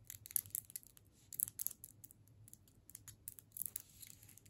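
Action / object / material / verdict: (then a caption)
tap / hard candy cane in a plastic wrapper / plastic wrapper / none. Long pointed nails tap and scratch a solid striped candy cane in a plastic wrapper. Quick, quiet, bright clicks and crinkly scratches come in bursts with short pauses, each dying away instantly. A faint low hum sits underneath throughout.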